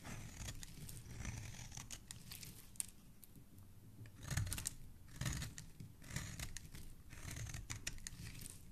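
A black blade scrapes and cuts a solid pink soap bar held in the fingers, shaving off crumbly white flakes. Dry, crisp scraping and crunching strokes repeat throughout, with bright bursts of rasping over a low, muffled rumble. The loudest cuts come just past the midpoint.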